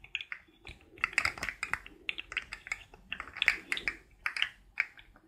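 Fingertips and nails tap and click along the hollow ring segments of a rainbow-colored, forearm-length articulated plastic fidget toy as it bends. The result is a quick, irregular run of short, dry, bright clicks with almost no low end, each dying away almost instantly.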